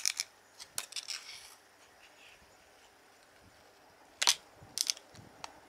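A fingertip with a red-painted nail rubs and flexes the end flap of a small, hollow, printed cardboard playing card box held in one hand. Quiet, bright, dry crackles and clicks come in short bursts, with a long near-silent pause in the middle before a few sharper snaps near the end.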